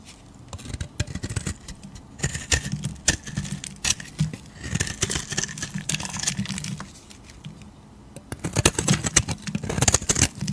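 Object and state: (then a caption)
Soap bar being carved. A metal utility blade shaves a solid, palm-sized, beige oval soap bar, lifting thick curls. The result is a run of crisp, rapid scraping and crackling strokes with bright edges over a low, soft rumble. The strokes come in bursts, with a quieter pause near the middle before a final dense flurry.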